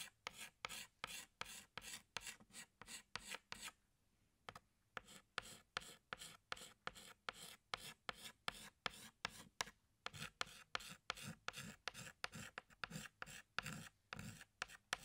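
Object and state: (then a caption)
Chalk stick on blackboard. A pink chalk stick is scraped across a flat black chalkboard in rapid rasping strokes, about forty short, bright, scratchy bursts in a steady rhythm. The strokes pause briefly near the four-second mark, then resume at the same quick pace.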